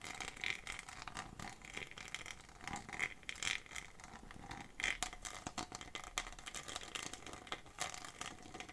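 Long fingernails scratch a small textured PET plastic bottle with an orange cap, giving a dense, bright, crackling scratch. Many quick, dry scrapes with almost no ring run together throughout, with sharper squeaky flicks around 2 kHz standing out at a few moments.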